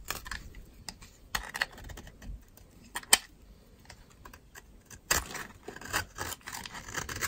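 A metal utility knife blade scrapes dry shavings off a solid pink bar of dry soap held in a hand with long red nails. Short, crisp, bright scraping strokes come in irregular bursts, with a sharp louder one near the middle and a denser run of scrapes toward the end.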